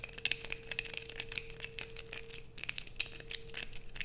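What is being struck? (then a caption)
Solid bar of soap. Long acrylic nails scrape across a solid blue bar of soap held in both hands. The result is a rapid run of dry, bright scratching and crinkling ticks with sharp transient peaks over a faint steady hum.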